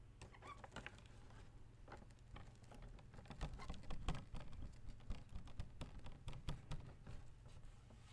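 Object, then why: Folding fan with plastic ribs and fabric leaf. Fingertips and nails tap and scratch the plastic rib guard and the base of the printed floral fabric/paper leaf of an open folding fan with white plastic ribs, held still. The result is a quiet, rapid, uneven patter of short, dry clicks and scrapes over a steady low hum, getting a little louder around the middle before easing off.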